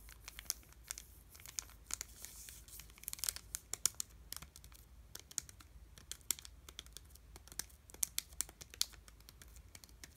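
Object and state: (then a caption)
Chocolate bar in crinkly wrapper. A full, solid Dove dark chocolate bar in a crinkly plastic/foil wrapper is held in both hands and pressed and tapped with fingertips. Bright, crisp crinkles and sharp little taps crackle steadily over quiet background hiss, each snapping short with no ring.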